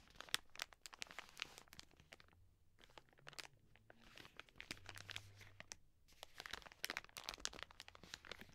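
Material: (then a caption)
Plastic film. A full, soft plastic wet wipes pack is held in both hands and squeezed while long nails scratch across its film. The result is quiet, bright, dense crinkling and crunching, broken by sharp ticking scratches. Two short lulls interrupt the sound before the crinkling resumes.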